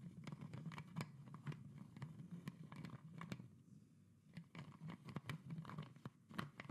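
Long nails scratch and tap the red plastic cap and neck of a tilted PET plastic Coca-Cola soda bottle. Quiet, dry taps and scratches come in quick irregular bursts, with a low hollow body tone and brief bright clicks. There is a softer lull partway through before the tapping picks up again.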